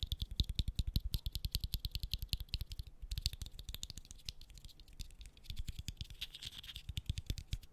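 A bottle cap is tapped rapidly, giving a fast, steady run of dozens of short, dry clicks with a low thud under a bright, rattly tick. Each tap dies away almost instantly, with a brief pause near the three-second mark before the tapping picks back up.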